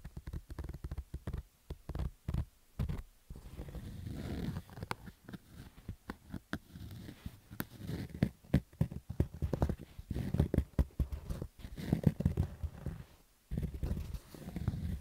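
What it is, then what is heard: Fabric baseball cap being scratched. Fingertips and nails scratch across the stitched rows of a black fabric baseball cap. The result is a dense run of short, rough, muffled scratching bursts, mostly low and dull with little brightness, broken by brief quiet pauses.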